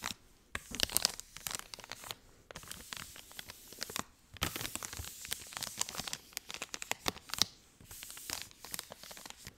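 A hand-sized blue soft-plastic packet of fragrance-free baby wipes, filled with wipes, is held in one hand and squeezed and crinkled with the fingertips close to the mic. Bursts of dry, bright crackling and crinkling come in dense clusters broken by brief near-silent pauses. The sound is mostly high with very little low end, and each crackle dies away almost instantly.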